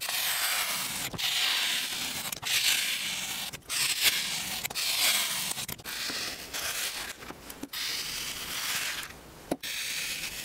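A metal ice-cream scoop with a pink handle scrapes and scoops through a rectangular clear plastic container packed full with red, white and blue kinetic sand, carving out balls. The sound is a steady, bright, hissy grainy scraping in repeated strokes, broken by short quiet gaps and a few sharp clicks between passes.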